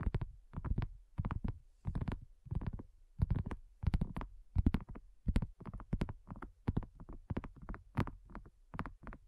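Long nails tap on a flat, round, pink dotted silicone coaster that is thin and solid. The taps come in quick, irregular clusters of soft, dull, low thuds with no ring, separated by brief pauses.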